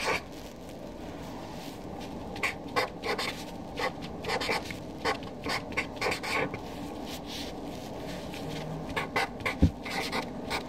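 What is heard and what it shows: A Sharpie felt-tip marker writes names in a third column on a flat white paper sheet resting on a desk. Its felt tip rubs and squeaks across the paper in short, bright bursts over a steady low hiss.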